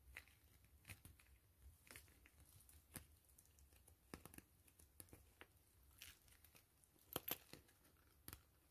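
Long fingernails scratch and tap a soft, hollow gray PVC grid-mesh zipper pouch and its fabric trim. Quiet, crinkly scraping runs throughout, broken by many sharp, bright clicks that die away almost instantly; a few louder taps stand out near the end.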